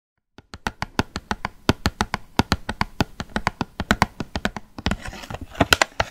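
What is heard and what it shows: A small printed cardboard gift box holding nail polish bottles behind a window is held in both hands and tapped with long painted nails, giving about thirty quick, dry clicks with almost no ring. Toward the end the taps mix with a soft, hissy scratching of the nails across the box.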